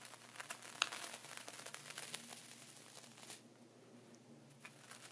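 A dark wooden pointer draws diagonal lines through a flat layer of sea salt inside a clear plastic ziploc bag, scratching and tracing through the plastic while a hand holds the zip edge. Bright, crinkly plastic rustling and gritty salt scratches with sharp little ticks fill the first three seconds, then the sound drops to a quieter scrape with a few faint crinkles.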